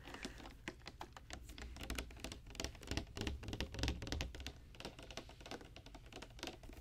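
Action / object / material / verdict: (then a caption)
tap / clear plastic tube with a cap / plastic / none. Long dark-painted nails tap on a tall clear plastic Barbie Color Reveal tube with a pink plastic cap, which holds a doll and is filled with pink opaque liquid or foam. Quick, irregular, keyboard-like clicks patter over about seven seconds, each short and dry, with a low underlying rumble.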